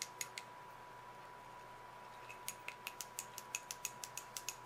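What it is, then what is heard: Glass candle jar tapped with nails. Long acrylic nails tap the glass sides of a small glass candle jar filled with red solid wax, held in both hands. Eighteen short, bright, high-pitched clicks sound: three quick taps, a pause, then a steady run of fifteen. Each tap dies away almost instantly over a faint constant tone near 1 kHz.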